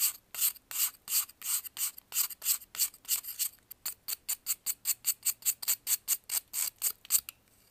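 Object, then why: Pressed baking soda block. A metal knife scrapes and carves a solid white pressed baking soda block held in blue gloves. It makes a steady run of about 30 short, crisp, bright rasping strokes with no low end, quickening toward the end.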